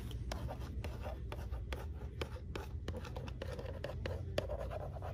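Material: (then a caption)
Plastic. Long manicured nails and fingertips tap and scratch a flat cardboard valentine card fitted with hollow clear plastic domes holding purple, green and red plastic toy yo-yos. Quick, crisp plastic clicks and dry scratching repeat steadily over a low, soft rumble.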